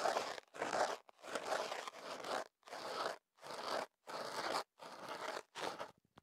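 A thin stick or cotton swab is rubbed and scratched inside the hollow opening of a tube of white kenaf paper wrapped around a small in-ear microphone. About nine separate bursts of dry, crinkly papery scraping follow one another with short silent gaps, centered in the midrange with a bright edge and no low end.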